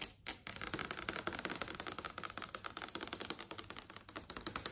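Long yellow acrylic nails tap rapidly across the plastic and glass panel of a large TV screen displaying a list of videos. A quick, steady run of sharp, bright clicks follows a brief pause at the start, each tap dry and short with almost no ring and very little low end.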